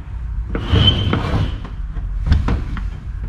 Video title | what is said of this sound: 241 DLD TRANSFER CASE REBUILD #CUMMINS #TRANSFERCASE #REBUILD | once you're done tapping it you can hear the noise change and that means it's cracking loose